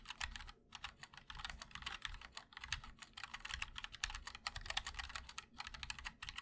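Fingertips of both hands type continuously on a 60% MOD-L mechanical keyboard with linear switches, ABS keycaps in white and black, and a black aluminum case. Rapid, bright, crisp clacks with short decays run together in a steady stream, with a soft low thock under each stroke and brief pauses between bursts.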